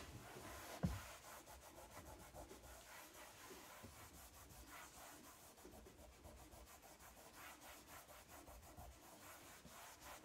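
A hand-held cloth wipes and rubs the flat panel of an open, dark brown wood-grain laminate cabinet door. A single soft knock sounds near the start, then a steady, quiet swishing of repeated rubbing strokes continues throughout.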